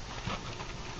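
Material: Nothing is struck.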